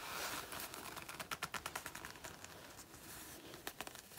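Long natural nails scratch and claw at a black faux leather biker jacket worn on the body, its soft, thin synthetic leather stretched over a person's side. Quiet, dry, crinkly scraping builds into a burst of quick, irregular rasping strokes with a faint squeak near 1.3 kHz and a bright, hissy edge. The sound then settles into softer rubbing before a few more sharp scratches at the end.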